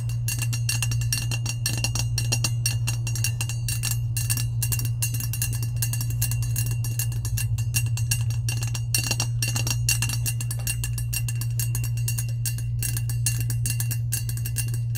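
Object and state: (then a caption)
Stainless steel tumbler. Long pointed nails tap and scratch the sides of a hollow, lavender, insulated, powder-coated stainless steel tumbler held upright. Dense, fast tapping and scraping produce bright metallic clicks around 2.8 kHz over a steady low hum, continuing evenly for the whole clip.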